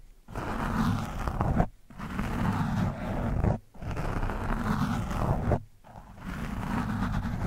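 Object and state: Foam microphone windscreen being scratched.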